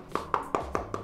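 Five quick taps on the plastic housing of an EarFun Wave Pro headphone give short, dry clicks with no ringing. The housing sounds solid, confirming a sturdy build.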